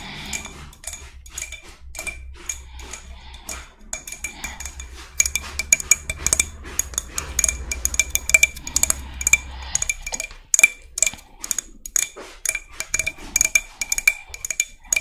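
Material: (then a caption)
Shell. Long red nails tap and scratch the ridged surface of a hand-sized, hollow, white spiny murex seashell. The result is a dense run of sharp, bright clicks and dry scratches, each dying away almost instantly, with a faint tone near 2.3 kHz and a soft low hum underneath for the first ten seconds.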